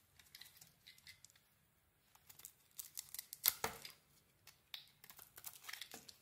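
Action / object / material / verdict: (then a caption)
scrape / solid soap bar / soap / none. A metal blade shaves the outer layer off a solid mint "Body Bar" soap bar. Quiet, bright, crisp scraping and crinkling bursts come in uneven clusters with short pauses, and one louder, longer scrape lands near the middle. Each cut stops dry and short with almost no ring.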